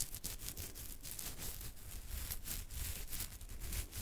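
A hand scratches and rubs a thick beard on the chin with fingertips and nails, moving across the jaw. The result is a quiet, steady stream of dry, bristly scratching with a bright crackle over a soft low rumble.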